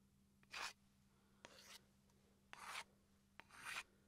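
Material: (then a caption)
Wood. A small solid wooden chopping board, held upright, is scratched along the grain with a wooden pencil in four short, bright, raspy strokes about a second apart. Several strokes begin with a faint tap, and a soft steady low hum sits underneath.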